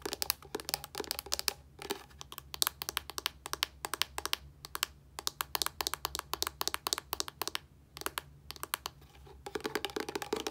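A white plastic body wash bottle with a yellow cap is tapped and scratched with long nails, producing rapid, crisp clicking taps with bright, high clatter and short scratchy rustles. The taps come in quick bursts separated by brief pauses, each dying away almost instantly over a faint steady low hum.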